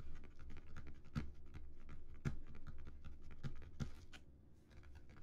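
Fingertips scratch the embossed relief surface of a flat, textured cardboard Earth disc, making a soft, continuous dull rasping with a few slightly sharper scuffs mixed in. Near the end the disc is lifted and held in both hands, and the scratching tapers off quietly.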